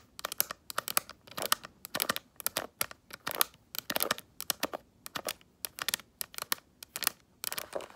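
Long acrylic nails scratch and tap the front of a small, hollow snakeskin-print faux leather mini handbag near its clasp. The result is a rapid, uneven run of dry, crisp scratches and clicks, bright and high with almost no low end. Each touch dies away instantly in quick clusters separated by brief gaps.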